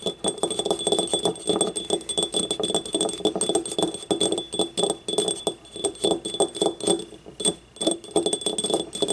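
Long nails tap rapidly and continuously on the rim and wall of a small, hollow, yellow ceramic paint cup, which is empty with paint stains inside and has its open mouth facing out. Each tap gives a short, clicky knock with a mid-low body around 340 Hz and a thin, bright ringing overtone. The ring fades almost at once, so the dense taps form a steady, chime-like patter.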